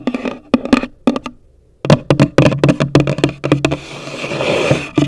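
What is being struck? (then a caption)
Cardboard box. Long nails tap and scratch on the top of a hollow, pale green cardboard gift box. Quick, dry, hollow taps with a low body tone come in bursts with brief pauses, then give way to a steady scratching rasp before a last few taps.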